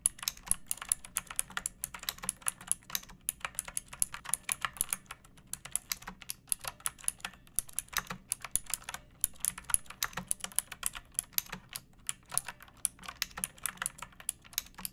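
A pink plastic mechanical keyboard with round backlit keycaps and a hollow body, resting on a wooden surface, is typed on steadily with long painted nails and fingertips for about 15 seconds. The keystrokes are quick, bright, clacky clicks that die away almost instantly, with a faint low hum underneath.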